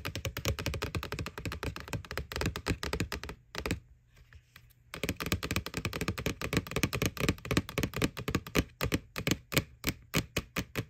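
Fingernails tap rapidly on the side wall of a white, hollow plastic McDonald's Boo Bucket, a Halloween pail. The dense, crisp clicks have a hollow, low thunk beneath them. A brief pause comes around the middle before the tapping resumes, ending in more spaced, distinct taps.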